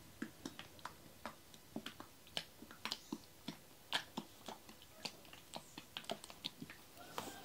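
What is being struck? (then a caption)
Plastic bottle partly filled with oil. A clear plastic bottle of about 1 litre with a green cap, partly full of yellow coconut oil, is held in both hands and shaken so the oil sloshes inside. The result is a quiet, steady series of short, dry, bright clicks and wet ticks, each dying away almost instantly.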